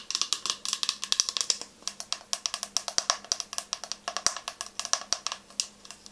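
Long nails tap rapidly on the body and green cap of a clear plastic toner bottle with a paper label, partly filled with orange liquid and held upright. About forty short, bright, clicky taps come in an uneven, quick rhythm. Each one is sharp and dry, dying away almost instantly with no low-end weight.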